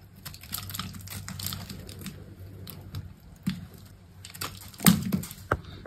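A hand with long pink nails holds a solid green bar of soap while a metal box-cutter blade scrapes and cuts crumbly shavings from its edge. The sound is a steady, soft, gritty scraping with a low rumble underneath and fine crackles on top. Near the end come a few sharper, louder cuts.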